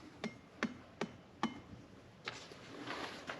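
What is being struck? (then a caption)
Obsidian block. A giant obsidian block (volcanic glass), one of a displayed pair, is tapped four times at an even pace, followed by a few fainter knocks. Each tap gives a short, bright, glassy click with a brief ring, which fits obsidian being volcanic glass.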